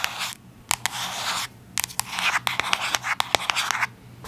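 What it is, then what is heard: Cardboard box scratched and tapped with nails. Long acrylic nails scratch and tap a small, hollow, yellow cube-shaped cardboard product box held in the hands. Bright, dry scratching bursts alternate with quick, sharp taps that stop almost instantly, with brief quiet gaps between strokes.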